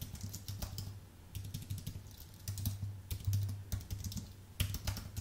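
A white Apple full-size keyboard with a numeric pad, a thin solid aluminium base and low-profile plastic keys, is typed on fast with the fingertips of both hands. Quick, dry clicks and taps come in a steady stream, each dying away almost at once over a low, steady hum.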